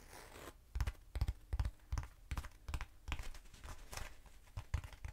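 Long nails tap rapidly on both sides of a short, hollow black foam cylinder held upright. The taps land as dull, low thumps with a dry, crisp click on top, in quick uneven bursts. Each one dies away almost instantly after a brief soft rustle at the start.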